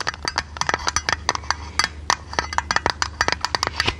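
A small oval metal tin or lid with a silver rim and a blue painted top is tapped and scratched with long red nails. About two dozen quick, bright metallic clicks come in an uneven rhythm, each dying away almost instantly, with a soft scratchy texture between taps. A faint low hum sits underneath throughout.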